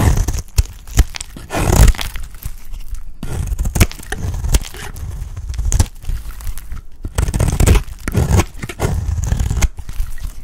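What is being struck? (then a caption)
Bar of soap scraped with a blade. A box-cutter blade scrapes and shaves an oval, dry, solid orange soap bar. The result is a steady run of dry, crumbly scraping and tearing strokes, each with a soft low thud beneath a faint bright crackle.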